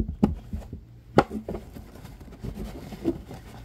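Fingertips and nails scratch and rub the curved, fabric-covered stiff brim of a baseball cap lying upside down on a table. Three soft, dull scuffs stand out over a low, continuous rubbing texture, each dying away almost at once, with little bright content.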